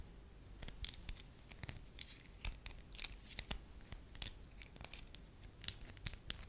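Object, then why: Wax sheet. A solid beige wax piece is held in the fingers, scratched with long nails and flattened into a soft sheet. Quiet, sharp, bright clicks and crisp scratchy crackles come in quick, uneven bursts over a faint low rumble, each snap dying away almost instantly.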